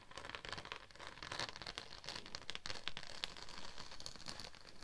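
A thin, flexible pink-purple holographic plastic sheet with a raised scale/diamond embossed texture, draped over a dummy head microphone, is scratched with long acrylic nails and fingertips. Dense crinkly scratching and rustling is heard throughout, with quick bright ticks and a hiss-like high texture.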